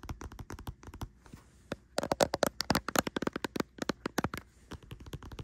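Long nails tap and scratch along a pink plastic squeeze tube of body cream that appears full, lying on a bedsheet. Quick, dry clicking taps come in bursts, with a softer scratchy stretch before a louder, denser run of taps in the middle.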